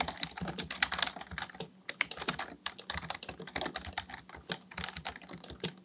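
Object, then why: Plastic membrane keyboard. Fingertips of both hands type continuously on a black plastic full-size Dell KB1421 membrane keyboard with a hollow housing, resting on a desk. A rapid stream of short, bright, crisp key taps and presses with soft, hollow-sounding thuds underneath and almost no ring after each stroke.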